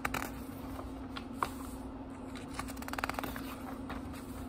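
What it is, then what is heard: Paper book pages being rubbed and turned. Fingertips rub and turn the thin paper pages of a small, thick book. Soft, dry rustling and crisp page flicks sound over a steady low hum, with a sharper flick just before halfway and a cluster of quick papery ticks after it.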